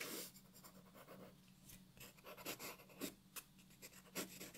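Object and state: Pencil scratching on paper.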